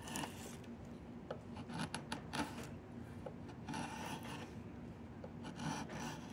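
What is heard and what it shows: A wood-handled chisel, held in both hands, scrapes and carves along the surface of a long, solid willow branch being made into a diamond willow walking stick. Dry, raspy scraping strokes come in uneven bursts over a steady low rustle, some strokes brighter and sharper than others.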